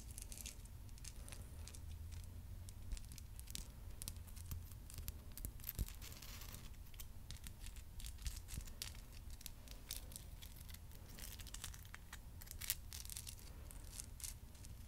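Long nails tap and scratch the crystal points of a hand-sized purple amethyst geode cluster, a solid stone with a crystal face. The result is a quiet, dense stream of quick, bright clicks and scratchy crackles over a steady low hum, with a few sharper taps standing out.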